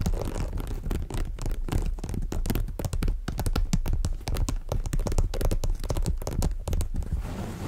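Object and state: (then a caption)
Woven jacquard fabric shoulder bag. Long nails scratch the woven surface of a black and cream monogram jacquard fabric shoulder bag. The clip is a steady run of quick, rough scratching strokes with a dull, low, rumbly body and little brightness, keeping an even level throughout.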